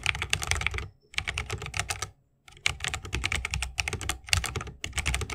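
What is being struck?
Mechanical keyboard with wooden case and plastic keycaps.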